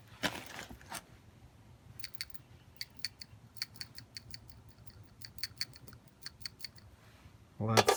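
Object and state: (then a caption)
New PCV valve rattling freely. A new PCV valve for a Toyota 1MZ-FE engine (Toyota Harrier / Lexus RX 300) is shaken by hand, and its internal check ball or plunger rattles freely as a quick series of about twenty sharp, light clicks. This clear rattle is the sound of a working valve.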